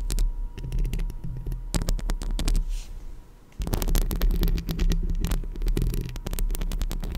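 Long acrylic nails on both hands scratch the hollow metal mesh grille of a decorated Blue Yeti microphone, producing a dense, rumbling, low-heavy scraping with a steady low hum underneath. The scratching dips briefly into a quieter patch partway through, then resumes strongly. At the end the hands still hover near the grille.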